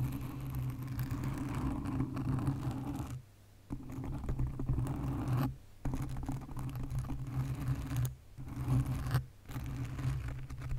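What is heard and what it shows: Long nails tap and scratch a black foam windscreen on a condenser microphone, producing a dense, muffled, low, rumbling scratching and patter. The rubbing runs in bursts broken by brief quiet gaps.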